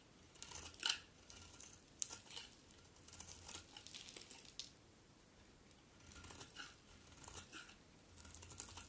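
A utility knife blade scrapes and shaves curls off the surface of a solid, cream-colored, embossed bar of soap held in long-nailed hands. Soft, dry, bright scraping and crisp shaving crackles come in uneven bursts over a faint low hum, with a few sharper ticks standing out.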